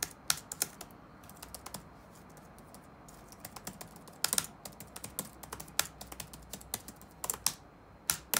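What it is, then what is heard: Plastic laptop keyboard. Fingertips type on the black plastic keycaps of a dark laptop resting on a wooden desk. Rapid, irregular, bright clicks with very short decay rise over a quiet, steady background hiss. The taps come in uneven bursts, with louder clusters near the start, around the middle, and at the end.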